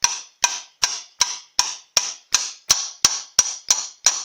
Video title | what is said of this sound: Powerglide CAST IRON Chev 2 Speed Reassembly Part 7of7 DIY How to | you can hear there's a different sound when it gets to the bottom